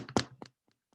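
The outside of a whole pumpkin is tapped, giving two short, dull thunks followed by fainter taps. It sounds hollow because it is empty inside except for the slimy, stringy pulp and seeds.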